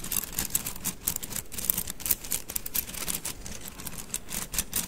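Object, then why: Bundle of thin wooden sticks. A bundle of thin painted wooden mikado sticks is held horizontally in both hands over the mic and rolled and rubbed between the fingers. The sticks click against each other in a steady, dense patter of quick, bright, dry ticks with almost no ring, over a soft low rumble.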